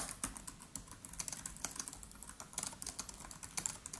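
Two hands type quickly with the fingertips on a MacBook Pro's built-in keyboard, with black plastic keys set in an aluminium body. A steady stream of short, bright, dry clicks and taps follows, each one dying away almost instantly, with only a faint low thud beneath.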